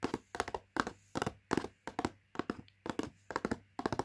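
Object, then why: Thin cardboard food box, closed and filled. Long nails and fingertips tap the front of a medium-sized Latkes mix box made of thin printed cardboard, closed and filled, lying flat on carpet. The sound comes in about ten quick bursts of two or three soft, dry taps each, with short papery clicks and dull thuds and almost no ring.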